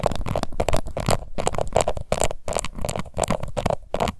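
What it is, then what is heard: Plastic powder compact scratched with nails. Long white nails on both hands rapidly scratch a small, round, pink plastic face powder compact with a glittery embossed lid and a hollow case. The result is a dense run of short, crackly scraping bursts with a hollow, boxy tone centred around 660 Hz and heavy low-end thumps.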